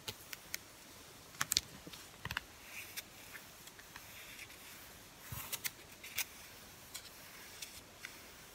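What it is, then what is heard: Paper-covered book. Fingertips tap repeatedly across the top edge and front cover of a closed, solid, medium-sized paper-covered NIV Bible with a blue and white cover, held flat. About fourteen quiet, dry, bright clicks and light patters come at irregular intervals, some in quick clusters, each stopping instantly with no ring over a soft steady hiss.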